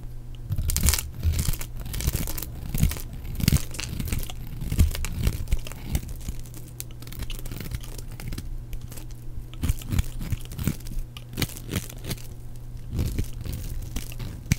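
A flat knife blade shaves and scrapes brittle flakes from the face and edge of a blue, solid bar of dry soap with embossed lettering, held in one hand. The result is a dense run of dry, crunchy scraping and crackling strokes with brief, bright flake-snapping edges. A steady low hum runs underneath throughout.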